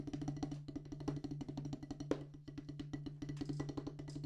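A solid black rubber drum practice pad on a wooden base is tapped with wooden drumsticks, including strokes with the stick shaft. A rapid, steady stream of short, dry, woody taps decays almost instantly, with a faint low tonal hum underneath.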